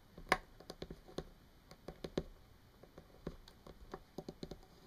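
A small hollow plastic Sharpie marker lying on a table is tapped with long painted fingernails, giving about 13 quiet, sharp, dry clicks at an irregular pace. The taps have a light hollow plastic tick and die away almost instantly.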